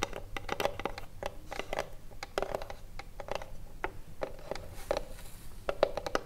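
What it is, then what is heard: Wooden cigarillo box. Long blue nails tap rapidly on the front and top edge of a small hollow wooden cigarillo box, with some scratching along its side. Each tap is a dry, hollow knock centered around 580 Hz that dies away almost instantly. Soft, bright scratching fills the gaps between taps.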